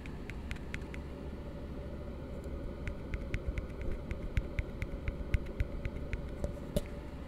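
Fingertips tap the base and side of an empty, hollow plastic cup resting open end down, and a palm covers its base. The result is a series of short, dry, bright clicks at an uneven pace over a steady low hum.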